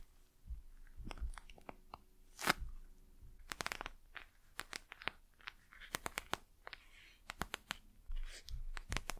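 Long nails tap and scratch the glossy plastic face of a gel-filled eye mask held in both hands. The result is a quiet run of many sharp, dry clicks mixed with bright crackling scratches and soft low thumps, each tap stopping almost instantly with no ring.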